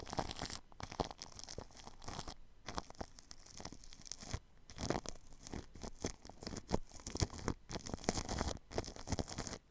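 A paintbrush brushes across plastic cling film wrapped over a ball microphone's grille. Close, crinkly rustling and scratchy strokes come in bursts with brief silent gaps, with a bright hiss over a low thumping rumble.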